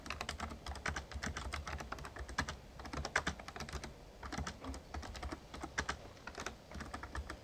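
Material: Plastic.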